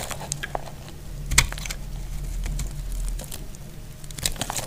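A solid, dry pink soap bar held in the hand is cut and scraped with a metal utility blade. Dry, crisp crackling and crumbly scraping ticks come in quick irregular bursts, with a sharper snap near the middle, over a low steady hum.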